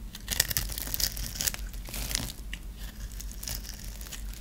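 A metal blade scores a dry, hand-held solid orange and white striped bar of soap into cubes and scrapes across it. The result is a run of crisp, crumbly crunches and dry scraping bursts with a bright, high edge over a steady low hum.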